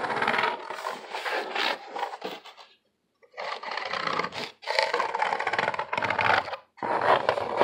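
Fingertips and nails scratch and tap the flat side of a medium, empty-looking corrugated cardboard box held up in the air. Dense, dry rasping bursts fill the mids and brighter highs with almost no low end, broken by a short silence near the middle and a brief pause near the end.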